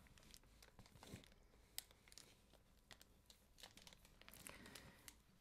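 A hardcover book in a clear plastic jacket, held upright on a desk, is rubbed and gripped by fingertips and nails. The result is quiet, dense crinkling of the plastic cover, with many short, bright crackles and a few sharper snaps.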